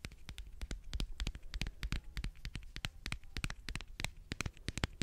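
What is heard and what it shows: Long fingernails tap rapidly on a small, hollow, pink and white egg-shaped plastic lip balm case held close to the microphone. The result is a fast, irregular patter of sharp, dry clicks with almost no ring, over a low, dull undertone.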